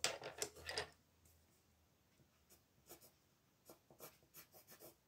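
A blue wooden colored pencil colors a small dinosaur's head on a flat paper coloring page resting on a wooden table, using short scratching strokes. A dense burst of bright, dry scratching fills the first second, then a quiet pause, followed by scattered short strokes that sound soft and papery with a high hiss.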